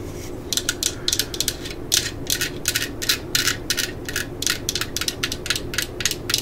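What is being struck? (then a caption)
Plastic drill battery pack. A hand-sized, solid-filled black plastic 18V drill battery pack is held while long nails tap and scratch its surface. About two dozen short, bright clicking and scraping bursts sit high in pitch, each dying away almost at once, over a faint, steady low background noise.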